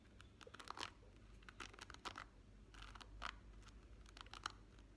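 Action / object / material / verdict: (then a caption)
scrape / plastic hairbrush bristles / plastic / none. Fingertips and short nails run and flick across the wavy plastic bristles of a rainbow plastic-bristle hairbrush in a scratching motion. The result is a quiet, irregular stream of short, bright, crisp scratching clicks and brief rasping bursts over a steady low background rumble.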